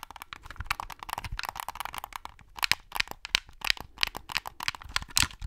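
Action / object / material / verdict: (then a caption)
tap / plastic game controller / plastic / none. A white plastic Xbox controller is held close to the mic while fingers tap and click its buttons and scratch its hollow plastic shell. The result is a rapid, uneven run of dry, bright clicks and crackles that stop instantly, with a scratchy texture between them and almost no low end.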